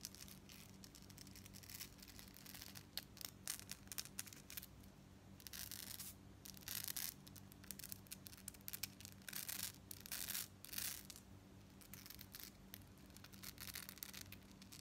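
Long nails scratch and tap quickly along the rows of a double strand of gold-tone metal beads held up in both hands. Dense, bright, crackly scratching comes in bursts with sharp little clicks, over a steady low hum.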